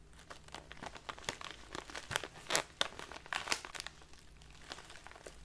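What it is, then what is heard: Crinkling plastic tea bag. A tall clear plastic bag with a paper label, full of loose leaf tea and standing on a table, is squeezed and crinkled with both hands and long dark nails. A steady, bright crinkling runs throughout, broken by sharp crackling bursts that stop almost instantly.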